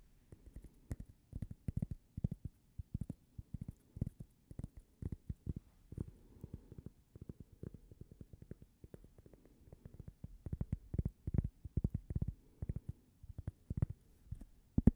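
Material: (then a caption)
Cork. A small, thin, toast-shaped solid cork coaster is held in the hands and tapped and scratched with long painted fingernails. Soft, dull, low taps sound in quick, uneven clusters and die away almost instantly, with faint scratchy rustling between them.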